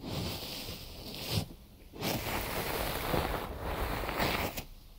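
A large rectangular binaural microphone wrapped in white cotton gauze bandage is touched, tapped and scratched on its wrapped sides with fingertips and short nails. Dense, close fabric scratching and rustling fills the clip with a low, muffled body and soft bright hiss. Two brief quiet gaps break the sound.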